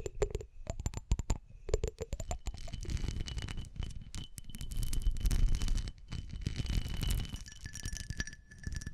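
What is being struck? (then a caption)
Glass object. A glass object is tapped rapidly with light, clinking strikes that blur into a dense, rattling patter dominated by low, thuddy energy. A faint steady ringing tone near 3 kHz lingers through much of the clip.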